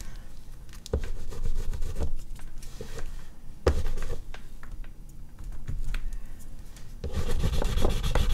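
An oil pastel stick is rubbed in hatching strokes over a large flat sheet of artist's paper resting on a board, with a hand on the drawing throughout. The result is a dense, low, papery rubbing and scratching, with louder stretches of strokes near the start, middle and end.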